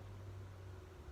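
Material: Nothing is struck.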